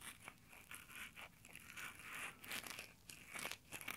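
Fingertips in textured nylon exfoliating gloves pinch and rub the top of a small Tascam recorder's mic grille, making close, crinkly scratching in a steady series of short, dry bursts. The sound is bright and mostly high with little low end, each burst dying away almost at once.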